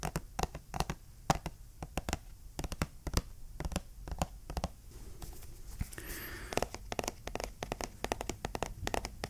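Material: Cardboard.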